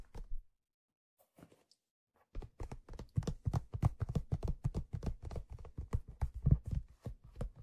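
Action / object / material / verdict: tap / leather fedora hat / leather / none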